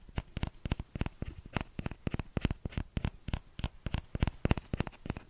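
Fingertips tap the hollow bowl of a small orange plastic ladle in a quick, uneven run of about 28 soft taps. Each tap is a short, dull knock with a faint bright click on top, dying away almost at once with no ring. The sound stays quiet and low-weighted throughout.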